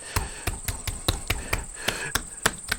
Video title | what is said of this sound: Все про Сливочное масло - Азербайджан - Вайлдбериз и Сталик Ханкишиев | à quel point le vrai beurre sonne, comment les paumes claquent dessus